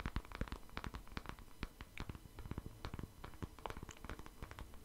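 A hand-sized black plastic paddle hairbrush with a hollow-looking back and bristles is held in the hand and tapped and scratched with the fingertips and nails close to the microphone. Quick, irregular soft taps and crisp scratchy clicks come in a steady, quiet stream, each dying away almost at once, with a low, hollow thump under the brighter scratches.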